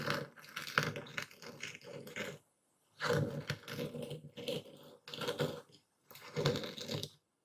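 A dark speckled stone pestle grinds and crushes coarse white epsom salt in a full wooden bowl steadied by one hand. Four bursts of dense, gritty crunching and scraping are separated by brief silences, and the crystals break up under the pestle.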